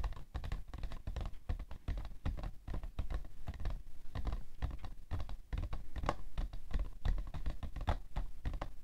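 Long nails tap fast on the side panel of a hollow, printed cardboard tissue box held upright on its side. The result is a rapid, steady patter of dry, hollow taps with a low, thuddy body. Each tap dies away almost instantly.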